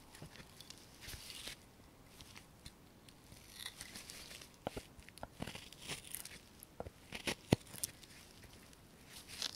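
A steel carving knife slices and scrapes the surface of a small, solid basswood lure blank held in a gloved hand. It makes quiet, dry, crackling shaving strokes with bright, hissy texture. Short sharp clicks and snaps punctuate the strokes, which grow denser and louder toward the end.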